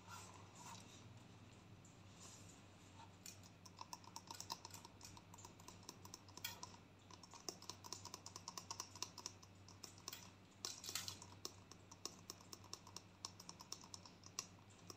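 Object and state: Plastic conditioner tube.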